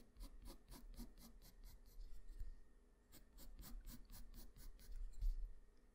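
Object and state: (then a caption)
Pencil scratching on drawing paper. The graphite tip of a black wooden pencil, held in the fingers, scratches across a flat sheet of white drawing paper in many quick, rhythmic strokes. The strokes come in two runs with a short pause in the middle, each a dry, bright rasp over a steady low hum.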